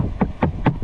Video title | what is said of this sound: 2025 Chevy Silverado 1500 LT Is it Still Worth Getting A Base Model??. | if you knock on it, listen to that. Solid. So I know my insulation is gonna be really good